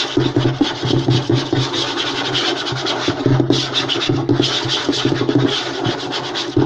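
Fingertips and short nails of both hands rapidly scratch and tap on a flat, light wooden tabletop. A dense, continuous scratching rasp with a bright, hissy edge runs throughout, punctuated by quick taps that carry a low, hollow wooden thump around 130 Hz.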